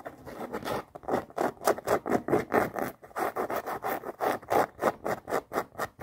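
Long nails scratch and tap a floral canvas high-top sneaker with laces and a white rubber sole, working over both the canvas and the sole of the hollow shoe. A fast run of short, dry, rasping strokes is heard, mostly in the mid range, with a brief pause around the three-second mark before it continues.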